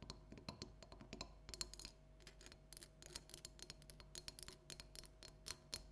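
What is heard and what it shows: Long nails tap and scratch a small hollow orange plastic light-up jack-o'-lantern with an LED light, resting on a table. Quick, dry clicks and brief bright scrapes repeat steadily over a faint low hum, each dying away almost at once.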